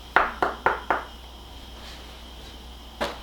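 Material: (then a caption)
Frozen meat. Knocks on chicken just out of the freezer give five sharp, hard pings, four in quick succession and one more after a pause. The sound shows the meat is frozen solid and needs defrosting in the microwave before it can be cut.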